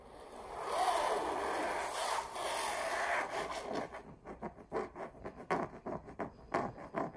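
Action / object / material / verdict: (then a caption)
scrape / stretched canvas wall print / canvas / none. Long purple nails trace and scratch the weave of a stretched canvas wall print of a red rose, near the signature. A steady, mid-toned rubbing sweep runs for about four seconds, then breaks into a quick, uneven series of short, dry scratches.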